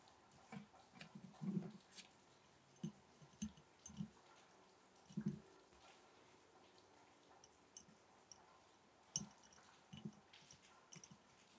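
A glass mason jar holding match sticks is tapped gently in a series of separate, irregularly spaced taps. Each tap is a short, quiet, dull knock centered low, around 160–200 Hz, with faint bright clicks and almost no ring between taps.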